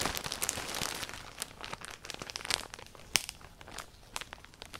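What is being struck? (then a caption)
Clear plastic poly bag with folded clothing inside. A clear plastic poly bag holding folded black clothing is grabbed and crumpled with fingertips and long painted nails. Dense, bright crinkling is heard as many quick, irregular crackles with no low body. The crinkling is busiest at first, then thins into scattered sharp snaps.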